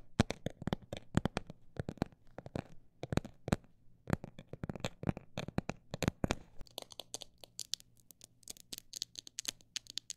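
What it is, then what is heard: Textured cosmetic bag tapped. A textured cosmetic bag is tapped with quick, sharp taps that sound dry and crinkly, with no ring after each hit. The first part brings louder, spaced taps over a faint low hum. It then shifts to a faster, lighter, brighter flurry of tapping.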